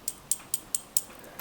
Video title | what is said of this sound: How to polish a badly-scratched watch crystal | it sounds a lot heavier. It's just, so it's got a kind of much more solid feel to it